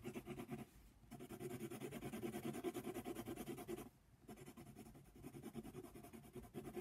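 A brown colored pencil fills in a giraffe's horn on a paper coloring book page lying flat, using quick strokes. The lead rubs and scratches across the paper in a fast, steady rhythm, with two brief pauses before the strokes resume.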